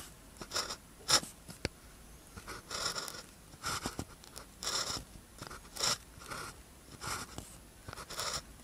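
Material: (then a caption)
Paper. A blue ballpoint pen tip scratches across a thin paper practice sheet with a red grid, lying flat, while writing characters. Short, bright, scratchy strokes come in separate bursts with quiet pauses between them, plus a few sharp clicks.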